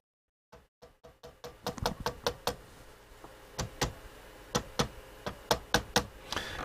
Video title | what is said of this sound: Crunchers Christmas LIVE 2022 : Bush VTR133 | It's just gone off there, look, because I've just tapped that one there.